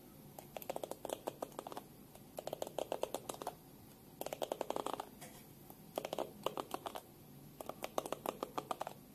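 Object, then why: Plastic hairbrush back. Long pink-painted nails tap and click rapidly on the smooth back of a small black plastic detangling hairbrush with a hollow oval back, held in both hands. The sharp, dry clicks come in five quick bursts separated by short pauses. They have a hollow midrange tone around 630 Hz and almost no ring.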